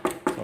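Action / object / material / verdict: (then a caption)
tap / plastic intake airbox / plastic / hollow. Three taps on a stock-style COBB plastic intake airbox from a 2015 Subaru WRX STI. Each tap gives a short, hollow knock centred around 370 Hz that dies away almost at once. The airbox sounds hollow compared with a thick homemade Kydex airbox.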